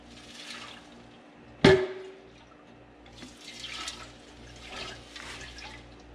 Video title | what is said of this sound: Craftsman Air compressor repair - Copper Barn Homestead | hear that water sloshing around in there